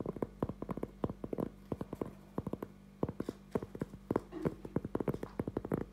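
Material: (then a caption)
Cork. A thin, solid round cork trivet is held in both hands while fingertips and short nails tap and scratch its face. The result is a quick, uneven run of dry, muted taps that stop almost at once, with soft scratchy rustles between them over a steady low hum.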